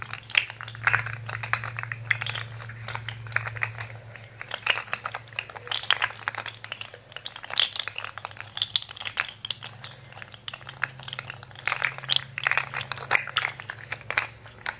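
Fingertips flex and twist a handheld rainbow articulated plastic fidget slug, so its hollow jointed segments click against each other. Quick, dry, bright clicks patter in dense irregular bursts for the whole clip over a faint steady low hum.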